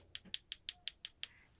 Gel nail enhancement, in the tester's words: now it will have a sticky layer on it but you can still hear it's done